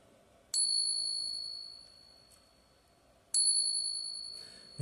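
A silver Morgan dollar is tapped twice for a ping test, and each tap produces a long, bright, bell-like ring that slowly fades. The coin is a real silver Morgan dollar, confirmed as genuine by its sustained ring and by being non-magnetic.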